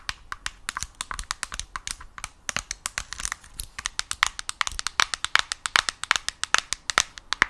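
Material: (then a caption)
Plastic. Long nails tap and scratch across the glossy screen of a yellow Nintendo Switch Lite, making about 50 quick, sharp, bright clicks in an uneven, rapid rhythm. Faint scratchy friction runs between the taps, which die away almost instantly with no low-end body.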